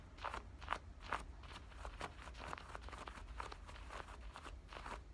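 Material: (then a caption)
Denim. Fingernails rapidly scratch and rub the front pocket edge and stitched seam lining of worn black denim jean shorts. The result is a quick, irregular series of dry, crunchy scrapes centered around 1.2 kHz with brief bright edges, over a steady low rumble.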